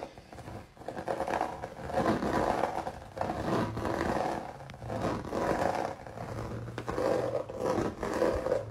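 Fingertips and nails scratch and rub across a flat canvas coated in thick, crinkled, dried red acrylic paint with raised droplets. The result is a dense, rough rasping scrape centered in the midrange, swelling and fading in long repeated strokes with little high-end hiss.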